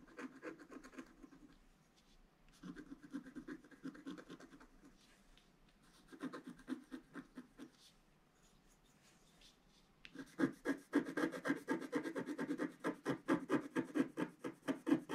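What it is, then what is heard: Scratch art board being scratched. A wooden stylus scratches the black coating off a flat scratch art card, working steadily around a drawn vase. Quick, dry scraping strokes come in short bursts at first, separated by quiet pauses. From about ten seconds on, the strokes turn louder, denser and continuous until the end.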